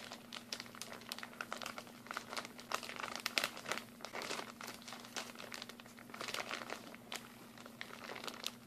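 A partly full clear plastic packaging bag of mini glue sticks is crinkled and squeezed with fingers. Dense, bright crackling and crinkling comes in rapid bursts throughout, with a steady low hum underneath.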